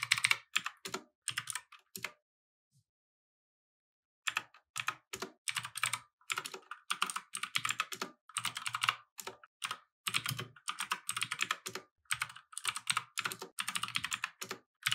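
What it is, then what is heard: Plastic mechanical keyboard. Both hands type with their fingertips on a compact mechanical keyboard with plastic keycaps resting on a wooden desk. The rapid, bright, clacky keystrokes come in quick bursts, stop for about two seconds of silence, then resume as steady, dense typing to the end.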